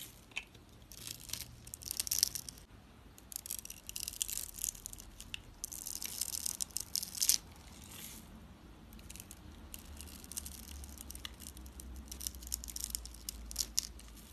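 A utility knife blade scrapes and shaves small cubes from a solid rectangular bar of dry purple soap, pre-scored in a grid and held in one hand. The result is bright, dry, crunchy scratching in irregular bursts with almost no ring, over a quiet low rumble.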